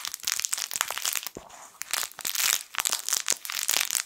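A small yellow plush fabric crinkle toy shaped like a sun is squeezed and crumpled with fingertips. It gives dense, bright, crackly crinkling with sharp snaps and no low end, easing briefly to a softer rustle around the middle before the crinkling picks back up.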